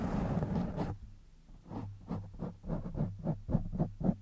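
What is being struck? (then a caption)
Foam microphone windscreen. Fingertips and nails of both hands scratch the top of a black foam windscreen on a silver microphone, then rub its sides. A dense, close, muffled scratching rustle fills the first second and fades, followed by a steady run of soft, low, thumpy brushing strokes that repeat at a quick, somewhat uneven pace.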